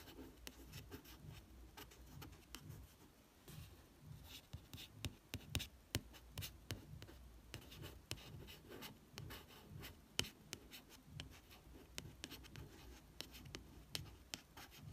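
Soft scratchy tracing and quick dry fingertip taps on a paperback's card cover, each tick dying at once.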